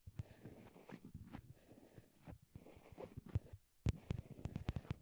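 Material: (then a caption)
Plastic. A pair of small white hollow plastic wired Apple earbuds, used as the microphones and resting on a cork board, is tapped with long glittery nail tips. The result is a quick series of dull, bassy, muffled thumps that die away almost instantly, with soft scratchy rustling between them. After a brief quiet pause, the taps come back sharper and louder.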